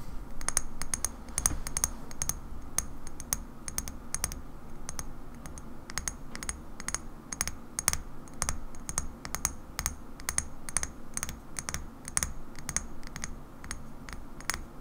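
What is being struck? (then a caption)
Small glass bottle. Long nails tap quickly and repeatedly on the body of a small, hollow cobalt-blue bottle, likely glass, with a black cap and a barcode label, resting on a wooden table. Each tap is a short, sharp click with a bright, high ring that dies away almost at once, over a steady low background hum.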